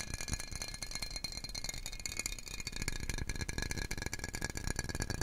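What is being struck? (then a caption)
Glass jar with screw-on metal lid. A medium, clear glass jar, hollow and apparently empty, with a screw-on metal lid, is held in both hands and tapped and scratched rapidly with fingertips and nails. The result is a dense, continuous rattle of quick clicks and taps over a low thumping body, with steady bright ringing tones running throughout.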